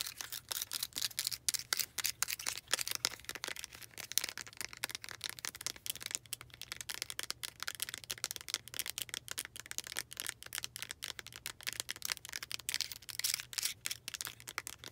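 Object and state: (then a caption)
Clear plastic puzzle cube. A small transparent plastic puzzle cube with colored inserts is tapped and scratched with long acrylic nails. Rapid, crisp clicks and scratchy ticks run steadily throughout, bright and high-pitched with almost no low end, over a faint low hum.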